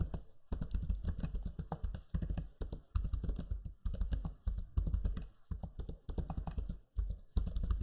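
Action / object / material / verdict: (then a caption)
tap / plastic laptop keyboard keys / plastic / none. Fingertips type on the low-profile plastic keys of a backlit black Lenovo Legion 5 laptop keyboard. Bursts of rapid, soft, dull clicks come in close runs separated by brief pauses, with a low, thumpy body and very short decay.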